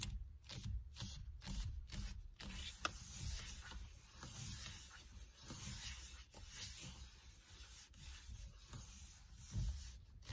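Fingers and a palm rub and grip the black leather or faux-leather covered rim of a solid car steering wheel. The result is a quiet, low, dull rubbing and squeezing sound in uneven bursts, with soft bright scuffing on top.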